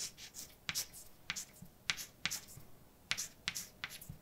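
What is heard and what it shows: A hand writes letters with white chalk on a large, dark chalkboard with a flat, solid surface, making quiet, bright scratching strokes broken by nine sharp, short taps at uneven intervals. The sound is mostly high and dry, with little low end and almost no ring after each tap.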